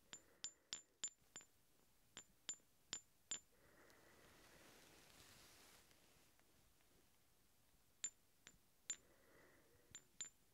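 Two large solid steel hex bolts held in one hand are clinked together in short bursts. The sharp, bright metallic clinks die away almost at once, with quiet handling rustle between the groups.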